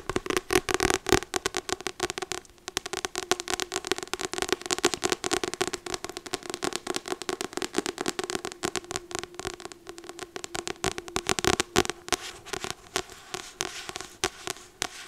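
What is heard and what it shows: A medium paperback novel, "Magnolia," with a glossy card cover and a solid paper block, is held upright in one hand while long acrylic nails on the other hand tap and scratch its front cover. Dense, rapid, crackly clicks and scratches run the whole time, bright and dry with very short decay, over a faint steady tone around 350 Hz.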